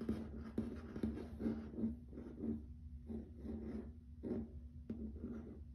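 Fingertips and nails tap and scratch across a grey wood-grain plank wood-look laminate floor. The result is quiet, dull taps with short, muffled decays, blended with soft scratching over a faint steady low hum.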